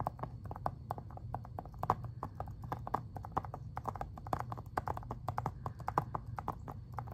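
Fingernails tap and scratch the front cover of a hollow, hard plastic Xbox 360 game case for Spider-Man 3, held upright. Quick, dry clicks land in a fast, uneven patter, each cutting off almost at once. A constant low hum sits underneath.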